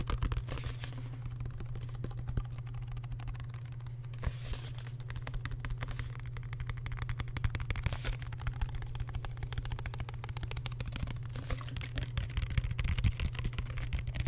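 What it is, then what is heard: Plastic spray bottle. A medium-sized, hollow grey plastic spray bottle with a red trigger head is held up close to the mic and tapped and scratched with fingertips and nails. The result is a quick, dense run of dry clicks and scratchy rustles over a steady low hum.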